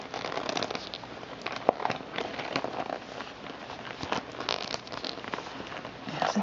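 A small, soft, empty glossy white vinyl (PVC) makeup pouch with orange polka dots and an orange zipper is held in both hands and squeezed, crumpled and crinkled with fingertips and nails. The result is a steady stream of dry, crackly plastic crinkles, sharp ticks and brief brighter snaps over a quiet background.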